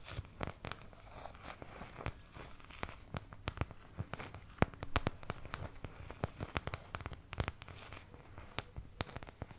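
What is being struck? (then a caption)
Thin plastic paint palette. A medium oval white plastic paint palette, thin, hollow-backed and empty, is held close to the microphone while long nails scratch and tap across its wells. The result is a quick, irregular run of dry, crackly clicks and taps over a soft scratching rustle, each hit short with almost no ring.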